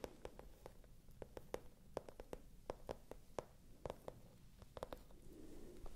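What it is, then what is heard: Patent leather clutch bag. Long nails scratch and tap along the sides and edges of a small, hollow, pale pink patent leather clutch bag. The result is a quiet, irregular run of sharp, dry clicks with a hollow tone around 520 Hz, each dying away almost at once over a soft, low scratching texture.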